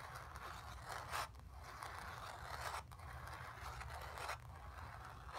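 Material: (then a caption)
Cotton canvas. Long nails scratch across a painted cotton canvas, over a sphere shape and the bottom area. The clip holds a steady, grainy scraping texture centered in the midrange around 1 kHz, with a low rumble underneath. Several louder strokes stand out before quieter, breathier passes between them.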